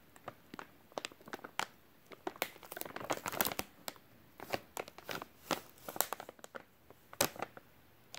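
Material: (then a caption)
Soft plastic. A full white soft plastic wet wipes package is held in both hands while fingertips rub and squeeze the film. The result is a quiet, irregular run of sharp crinkles and crackles with bright highs and almost no low end.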